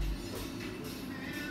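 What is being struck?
Nothing is struck.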